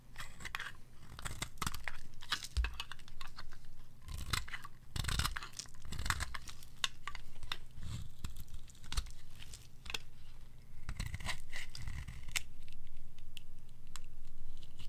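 A red-pink bar of solid dry soap, held in the hand, is cut into thin curling strips with a metal blade. Crisp, crunchy scraping and tearing cuts come in quick, irregular bursts over a steady low hum.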